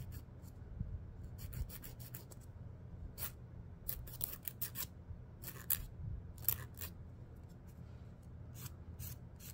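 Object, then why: Emery board nail file. A fingernail is filed across the abrasive side of a long, solid emery board nail file held in the hand. Short, bright, scratchy rasping strokes come in irregular bursts over a steady low background rumble, each stroke stopping almost at once with no ring.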